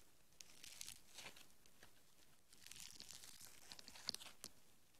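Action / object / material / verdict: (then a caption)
scrape / soft foam bead clay / foam beads / none. A handful of soft green foam bead clay is pulled into an arc and stretched by fingertips with long nails. It gives quiet, bright, crackly tearing and crinkling sounds, with sharp little pops scattered over a soft hiss.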